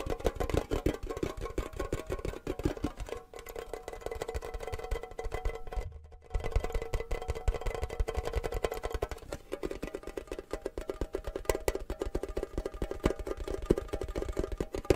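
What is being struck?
Small hollow metal tin box with lid.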